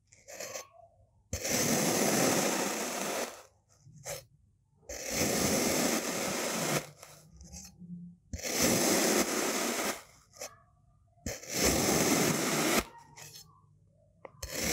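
A solid, medium-size pink molded kinetic sand shape is sliced into thin layers by a white-bladed knife pushed down and through it. Four long, broad, gritty scraping cuts fill the clip, bright and hissy with a soft low crunch, separated by short quiet gaps with faint small rustles.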